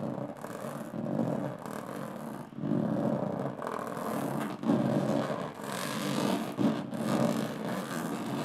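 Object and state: Aluminum carry case.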